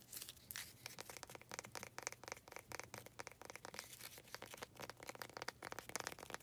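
Long nails tap and scratch the faces of a small faceted wooden pot holding an artificial cactus. Rapid, dry, bright clicks blend with scratchy, crinkly rustling in a quiet, busy stream, with a faint steady low hum underneath.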